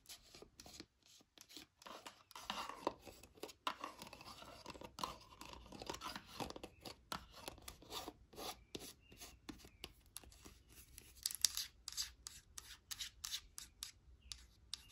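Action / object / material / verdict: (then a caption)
tap / plastic jar with plastic lid / plastic / none. Long nails scratch and tap the orange plastic lid and label of a hand-held white plastic jar of hair cream, likely full. The result is a quiet stream of dry, bright scraping broken by many short, sharp clicks with almost no ring, denser and more clipped toward the end.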